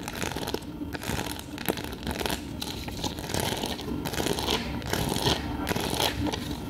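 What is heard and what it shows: A hand-held flat clear plastic sheet covered in small multicolored adhesive plastic half-pearls is scratched and rubbed with long nails and fingertips across its rows of pearls. The result is a steady stream of crinkly, crunchy scratching with short, bright clicking bursts. The strokes come at an uneven pace, with no ring after each one.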